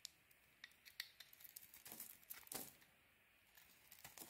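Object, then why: Soap bar. A metal blade scrapes and carves crumbly flakes off a palm-sized, solid white soap bar with a pink coating, held in the hand. Quiet, bright, crackly scraping comes in short crisp bursts, swelling into denser crumbling around the middle. A brief near-silent pause follows before lighter scrapes resume.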